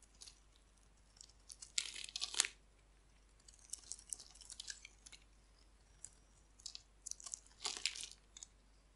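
A hand-sized, solid, dry bar soap with orange and yellow stripes is held in the hand and scraped and carved with a metal utility blade, with crumbs falling away. Quiet, crisp scratching and crunching strokes come in irregular bursts, almost entirely high and bright with no low end. The longest and loudest cuts fall near 2 seconds and again near 8 seconds.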